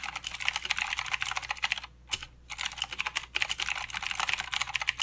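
Both hands type continuously with their fingertips on a full-size mechanical keyboard with white, grey, black and green plastic keycaps and blue clicky switches. The result is a rapid, bright stream of sharp clicks with almost no low end, broken by a brief pause just after the two-second mark before the typing resumes.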